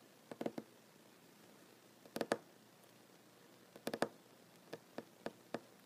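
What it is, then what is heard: Wooden table. Fingernails and fingertips of one hand slowly tap a large, solid wooden tabletop with plank seams. Short, dry, quiet knocks with a woody mid-range tone come in small clusters, then as single taps spread apart. Each tap dies away almost instantly against a near-silent background.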